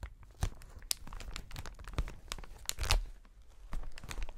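A long, clear plastic packaging sheet of inflated air cushions is stretched between both hands and pulled and flexed. It produces irregular crinkling and crackling with sharp, bright snaps over a low, soft rumble of handling.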